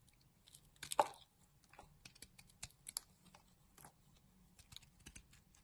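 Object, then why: Bar of soap. A pink solid bar of soap is shaved into strips with a box-cutter blade, giving quiet, crisp scraping and crunchy cuts. A louder shaving stroke near the start is followed by a scattered series of short, dry clicks and crackles against a faint low hum.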